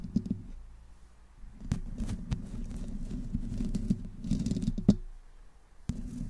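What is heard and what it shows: Long fingernails on one hand slowly scratch the upper metal mesh grille of a black microphone with no windscreen. The sound is a close, muffled, low rasping scrape, broken by a few sharp clicks and brief bright ticks, with quieter gaps between strokes.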